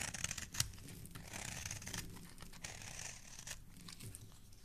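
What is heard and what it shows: A steel utility-knife blade with a blue handle scrapes down the edge of a solid green bar of soap held by fingertips, cutting off fluffy shavings. Soft, crumbly scraping and hissing strokes fill the bright high end over a low rumble, with a sharper snap early on.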